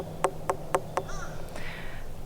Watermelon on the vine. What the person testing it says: it sounds like it's good to go compared to the one next to it that's definitely not ready